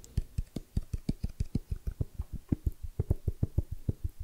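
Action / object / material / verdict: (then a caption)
tap / small rigid cardboard box / cardboard / none. A small, hollow, rigid white cardboard iPhone XS Max box is held and turned in both hands while fingertips tap on its lid and sides. About 21 quick, soft, dull thumps come in an uneven rhythm, each low and hollow with almost no ring.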